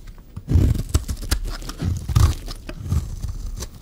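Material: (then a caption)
Soap. A solid rectangular purple bar of dry soap, held in the hand, is cut and scraped into thick curls with a metal utility-knife blade. Dull, crunchy scraping pulses are heard, punctuated by short sharp clicks with bright edges, while most of the energy stays low and muffled.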